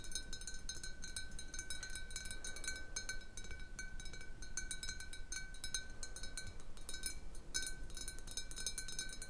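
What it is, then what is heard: Glass bottle tapped with fingernails. Long blue nails tap quickly and lightly on the sides of a large, hollow clear glass bottle with a little water at the bottom, standing on a wooden table. Steady bright clinks ring briefly with a clear high tone over a soft, low background rumble.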